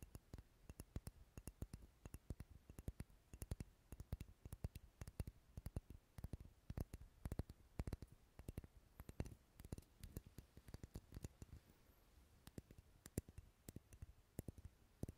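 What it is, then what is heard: Wax pillar candle. A large, dark red, solid wax pillar candle is held sideways near the microphone and tapped with long nails. The result is a rapid, irregular stream of short, dry clicks with a soft low thump under each tap, every one dying away almost at once and some landing harder than others.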